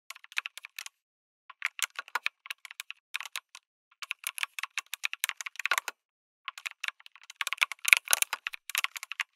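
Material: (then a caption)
Plastic. Fingertips type in quick bursts on a backlit mechanical keyboard with a white case and red and grey plastic keycaps. Each keystroke is a short, bright, dry click with no low end, centered around 2.4 kHz. The bursts come in runs separated by brief pauses near the 1- and 6-second marks.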